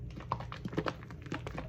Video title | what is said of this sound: Now Kim Kimble... First Impression - Hair Care Line | this conditioner sound like it's real liquidy. Y'all hear that? When I shake it up